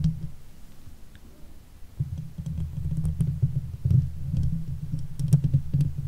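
Long nails scratch the hollow steel mesh head of a silver Blue Yeti microphone from above and from the sides. The result is a deep, muffled rumbling scrape dotted with short, dry clicks, quieter at first and then growing fuller and louder after about two seconds.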